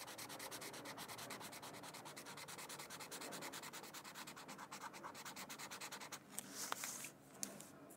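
A felt-tip marker scratches and rubs across the edge area of a thin white paper mandala coloring sheet lying on a book. Quick, even back-and-forth strokes make a steady, bright, dry scratching. Near the end the strokes give way to a softer swishing rub with a few sharp ticks.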